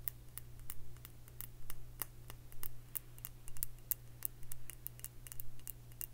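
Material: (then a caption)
Glass. Long fingernails tap a round glass liquor bottle with a metal screw cap, filled with dark liquid. The result is a quick, uneven series of short, bright clicking taps with almost no ring, over a steady low hum.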